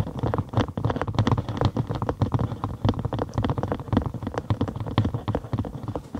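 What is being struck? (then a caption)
Thin cork sheet. Long acrylic nails tap rapidly on a thin cork sheet curved over a binaural microphone, with a hollow space underneath. The taps come as a quick, continuous patter of short, deep, hollow thuds, mostly low and bassy, with very little bright sound and almost no ring after each hit.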